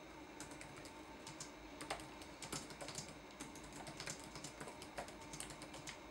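Fingertips tap the plastic keys of a red-backlit laptop keyboard in a typing motion, producing a quiet, uneven run of quick, bright clicks. The clicks sit over a faint steady hiss, with a few louder keystrokes standing out.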